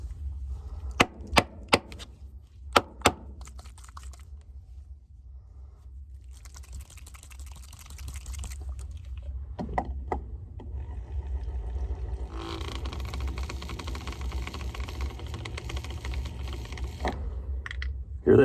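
A bottle of rust/dirt-colored model paint with a metal BB mixing ball is shaken to mix paint that has settled at the bottom. Five sharp knocks open the clip over a low steady hum, followed by a period of muffled shaking that builds into a continuous bright rattle of the ball moving freely. This shows the settled paint has broken loose and is mixing.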